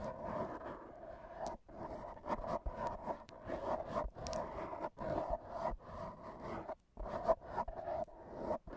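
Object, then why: Foam microphone windscreen. AA batteries worn on the fingertips tap and rub against a black foam microphone windscreen. The result is a close, scratchy, muffled rustling centered in the midrange, broken by brief, sharp taps and short silent gaps.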